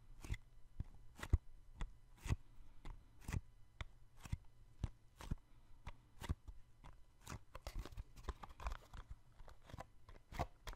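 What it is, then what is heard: Small cardboard box. A small, hollow, yellow cardboard box is held in one hand beside the microphone and tapped and patted with the fingertips of the other hand. Quiet, dry, short taps come at an irregular pace over a steady low hum, with some bright clicky ticks, growing denser toward the end.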